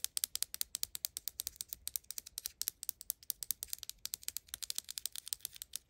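A small, hollow, pink plastic cylindrical Mini Brands toy bottle is held in the hand and tapped and scratched with long acrylic nails. About 48 rapid, crisp clicks follow one another in a quick, uneven rhythm, each sharp and bright with almost no low end and no ring.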